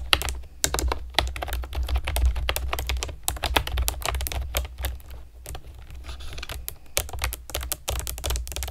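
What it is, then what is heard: Plastic keyboard typed on with nails. A compact plastic typewriter-style keyboard with round plastic keycaps and a hollow plastic body is typed on with long nails and fingertips. Quick, bright, clacky taps come in irregular bursts, each dying out almost instantly, over a steady low hum.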